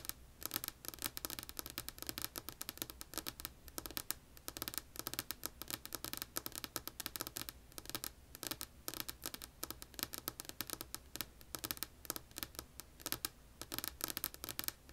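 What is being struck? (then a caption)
Wooden tabletop tapped and scratched with fingernails. Long polished nails rapidly tap and scratch a solid, flat, light wood-grain tabletop. The result is a quiet, steady stream of short, bright clicks and scratchy rustles with almost no ring.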